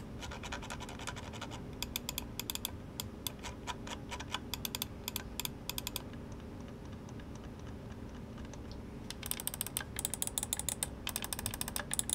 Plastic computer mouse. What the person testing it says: Walang squeaking sounds at walang umaalog.